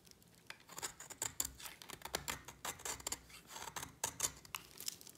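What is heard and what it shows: A utility knife blade scrapes thin shavings off a solid white bar of dry soap held in the hand. The result is a quick run of crisp, dry, high-pitched scraping and cutting strokes, each short and bright with almost no low end or ring.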